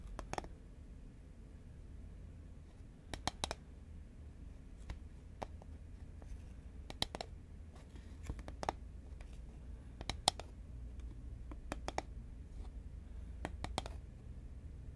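Long fingernails tap the side of a green Pringles cardboard tube held horizontally in both hands. About twenty short, dry, bright clicks land in irregular bursts and die away almost instantly. Beneath them runs a quiet, steady low hum.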